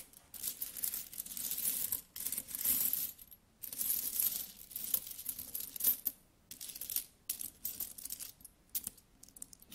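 Several solid metal coins are held between the fingers and rubbed together, then picked up from a pile and dropped back onto it. The result is bursts of bright, scraping metallic jingling and quick clinks, broken up by brief pauses, with almost no low end.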